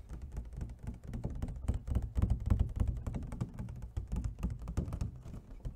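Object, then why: Clear plastic clamshell food container. Fingernails tap rapidly and irregularly on the ribbed side and lid of an empty, hollow clear plastic clamshell food container as it is rotated. The taps are short, dull and hollow, with a low thudding body and almost no ring, forming a steady flurry of clicks that swells slightly in the middle.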